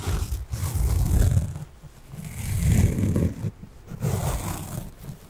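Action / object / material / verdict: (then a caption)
scrape / foam kitchen sponge with scouring layer / foam / none. A small pink foam kitchen sponge with a yellow scouring layer is held upright and scratched with fingernails. Three long, deep, rumbling scratching bursts rise and fall, with faint bright rasping above the heavy low texture.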